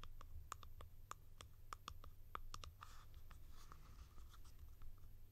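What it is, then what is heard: Plastic cap tapped with fingernails. A blue hollow plastic cap, held in the hand, is tapped with long nails on its sides and rim. Quick, sharp clicky taps each carry a short hollow ring around 1.2 kHz, with bright edges, over a steady low hum. Later in the clip the taps turn softer and more scratchy.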